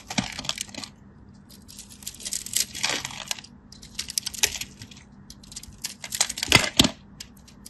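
A solid cream bar soap held in the fingers is carved with a craft knife, giving crisp, bright scratching and cutting strokes in irregular bursts. Short dry scrapes cluster together with brief pauses between them, and a faint steady low hum sits underneath.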